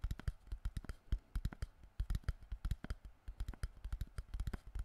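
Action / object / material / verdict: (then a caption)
tap / crushed plastic water bottle / plastic / none. Fingertips tap rapidly on an empty, crushed, hollow clear plastic water bottle held in both hands close to the microphone. The result is a quick, uneven run of dull, low thuds, each with a short crisp click that dies away almost at once.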